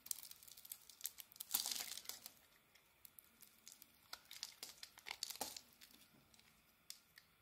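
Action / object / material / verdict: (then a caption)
scrape / bar of soap / soap / none. A small metal blade scrapes and shaves a solid oval white bar of soap with a dark brown and pink coating, lifting curled shavings. The result is a series of dry, crisp, crinkly scraping strokes, bright and thin with almost no low end, with a longer, louder rasping pass near the start and quieter short scrapes after.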